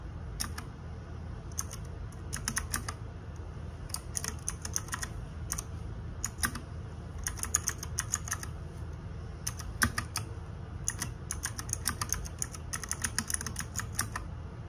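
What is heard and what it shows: Fingertips and nails type rapidly on the plastic keycaps of a small RGB-backlit 60% mechanical keyboard. Bursts of sharp, bright clacks come in quick runs with brief pauses between them. The clicks stop almost instantly, over a steady low hum.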